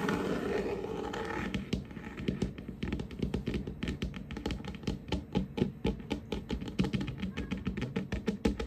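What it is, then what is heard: Wooden tabletop. Fingertips and short nails of both hands tap and scurry across a large, solid, varnished wooden tabletop. A soft, continuous scratchy rustle opens the clip, then breaks into rapid, irregular taps: dull, low wooden thunks with light clicky edges that die away almost instantly. The pattern is unpredictable and close-sounding.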